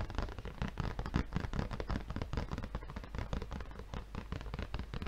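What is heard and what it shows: A red, plastic-wrapped paper refill pad is tilted and tapped rapidly with the fingertips of one hand against its film-covered front. The result is a dense, continuous stream of soft, dull taps with a faint crinkly crackle, mostly low in tone and held at a steady, quiet level throughout.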